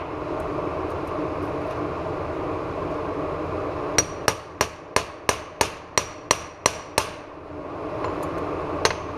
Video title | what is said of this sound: Jeep JK Eaton E locker install D30 | that change in pitch when you're tapping a bearing on